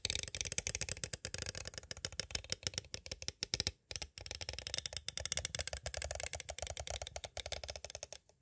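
Two thin striped sticks tap and rattle rapidly against the sides of a small, hollow, clear plastic cassette case held upright with a Mozart tape inside. The result is a dense stream of dry, bright plastic clicks and clatters, with a brief pause near the middle.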